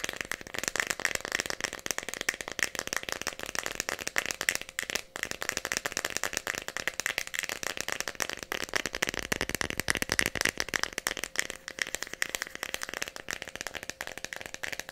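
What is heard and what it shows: A small Tylenol plastic bottle with a red plastic cap, holding pills, is tapped rapidly with long nails for the whole clip. The result is a dense stream of dry, bright clicks with almost no low end, and the pills inside likely rattle along with the taps.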